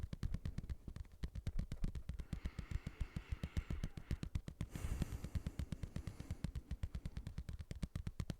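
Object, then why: Padded leather boxing glove. A padded boxing glove is tapped in a fast, steady rhythm, about 63 soft, dull thuds over eight and a half seconds. Each tap is low and muffled, with almost no high-frequency content, and it dies away almost instantly.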